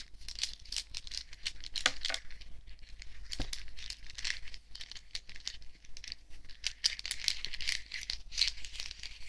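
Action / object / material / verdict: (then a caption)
shake / necklace of small thin metal discs / metal / none. A necklace of many small, thin, shiny silver metal discs is held in the palm while fingertips and nails handle and shake it. The discs clink and rattle together in a dense, continuous stream of short, bright metallic ticks with a few louder jingles. There is almost no ring after each contact.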